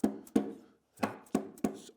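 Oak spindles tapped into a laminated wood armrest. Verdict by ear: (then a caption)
Tight. Turned red oak spindles are tapped home into the bent-lamination wooden armrest of a corner chair, giving six short, dull, solid knocks with almost no ring. The joints are tight and solid.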